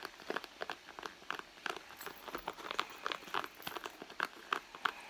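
Long nails scratch and pinch the front pocket of a red soft leather handbag resting on a mat, and the hollow bag answers with quick, irregular scratchy taps and crinkly rubs. The sound sits mostly in the mid range with some bright hiss, each stroke dying out almost instantly with no low rumble.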